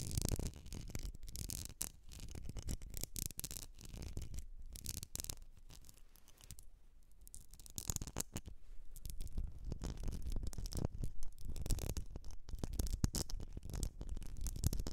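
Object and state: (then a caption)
Glass candle jar scratched with nails. Long nails scratch and tap the outer surface of a medium etched glass jar filled with solid wax, a candle jar. Dense, irregular scratching and quick taps keep up a steady low, rumbling texture with brief bright flecks. A quieter stretch comes midway before the scratching builds again.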